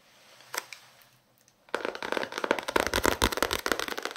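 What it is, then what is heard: Paperback book tapped and scratched. A small paperback novel held close to the microphones has its card cover tapped and scratched with fingertips and nails. After a quiet start with a couple of faint taps, a dense run of quick, dry, crackly taps and scratches begins partway through and continues to the end, bright and close with little low end.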